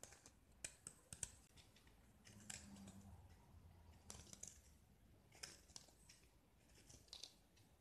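A metal utility-knife blade scrapes and carves a small, solid pink-painted gypsum brick, exposing the white plaster underneath as powder falls away. Quiet, dry scratching runs throughout, with sharp bright clicks and short gritty scrapes over a low rumble.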